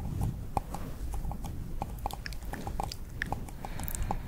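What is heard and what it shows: Long purple nails tap quickly on the base and sides of a small, hollow, empty pink paper cup held upside down. The result is a fast run of light, clip-clop-like taps with a hollow midrange tone near 800 Hz, each dying away almost instantly, over a steady low rumble.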